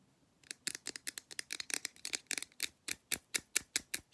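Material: Aluminum.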